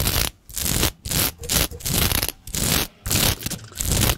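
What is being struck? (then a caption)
Plastic sequin fabric. Long pointed nails scratch and scrape across a large sheet of shiny green and black plastic sequin fabric. Fast, broadband rasping bursts with a bright, crackly top and a low rumble come in quick strokes, separated by brief silent gaps.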